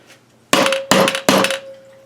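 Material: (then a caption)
Aluminium. Three rubber-mallet taps on the aluminium crankcase halves of a 1980 Suzuki FZ50 engine, joined with sealant and no gasket, struck to crack the sealant joint. Each tap gives a hollow knock with a short metallic ring near 540 Hz. The hollow sound shows the crankcase seal has broken loose.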